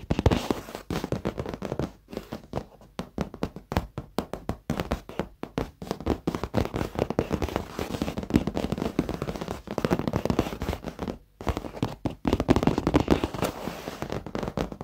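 Fingertips and short nails of both hands tap and drum rapidly on the padded seat of a dark leather office chair, upholstered over foam, close to the microphone. Many quick, dull, soft thuds with a low-mid body and almost no ring follow one another in dense, uneven bursts, with brief pauses between runs.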